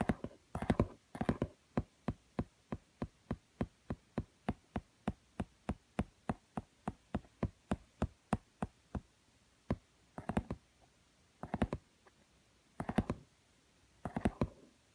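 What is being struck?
Small book with laminated cardboard cover.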